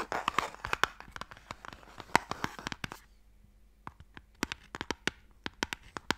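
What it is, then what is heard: Wooden box scratched with nails. Fingernails scratch along the engraved lid of a closed, hollow wooden Mikado box close to the mic, giving a dense stretch of dry, raspy scraping for about three seconds. After a brief quiet gap, sharp, bright clicks and short scrapes follow, each dying away almost instantly.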